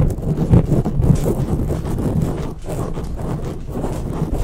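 Long natural fingernails and fingertips of both hands scratch and rub a soft, porous dark grey foam windscreen on a silver condenser microphone. The result is a dense, muffled scratching and rumbling that stays heavy in the low end, with almost no brightness and a steady, slightly uneven level throughout.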